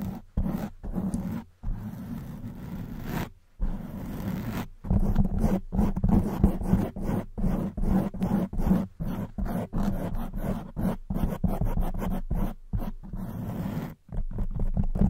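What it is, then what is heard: Foam microphone windscreen being scratched. Long white almond-shaped nails scratch the sides of a black porous foam windscreen on a silver microphone, with both hands cupped close around it. The scratching comes through as a dense, low, muffled rumble centered near 200 Hz, almost roar-like, with little high content. It is broken by frequent irregular brief gaps and a few longer pauses.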